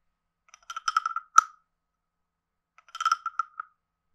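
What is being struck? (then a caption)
Carved wooden frog guiro scraped with a stick. A wooden stick scrapes the ridged back of a palm-sized, hollow, carved reddish-brown wooden frog guiro and taps its head area. It makes two short bursts of quick, dry, ratcheting clicks with a hollow woody tone near 1.3 kHz. The first burst ends in a sharper, louder tap, and the second follows after a pause of over a second.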